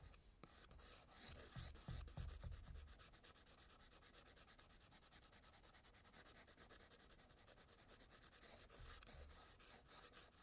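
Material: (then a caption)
Paper. A wooden-barrel white pastel pencil is rubbed in fast circular scribbles over tan toned paper in a spiral sketchbook. The result is a steady, rapid, scratchy rubbing of about three strokes per second, with a bright papery hiss on top. Heavier, lower-pitched scrubbing swells near the start and again near the end.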